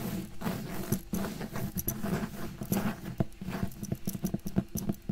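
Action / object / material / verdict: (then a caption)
tap / cloth-bound hardcover book cover / cloth, board / none. Fingernails tap and scratch the cover of a closed, solid red cloth-bound hardcover book with gold decoration, held in one hand. A quick, uneven patter of soft, dull, low taps mixes with brief bright scratchy clicks. Each sound dies away almost instantly, with no ring.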